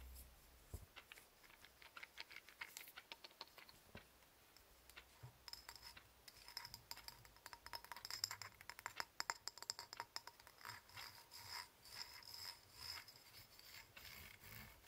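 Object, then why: Titanium fidget egg. A small hollow, egg-shaped titanium antistress egg with a ribbed surface is held in both hands, and its halves are twisted against each other under the fingertips. This produces a quiet, steady run of crisp, bright ratchet-like clicks in irregular bursts. Each click dies away almost instantly.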